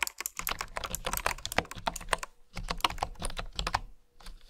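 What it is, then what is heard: Bamboo keyboard being typed on. Fingertips and long nails type on a full-size keyboard with a bamboo body and bamboo keycaps. The result is a quick run of short, dry clacks and taps with bright clicky edges and a low thump under each press. The typing pauses briefly just before the middle, then resumes and fades into quiet.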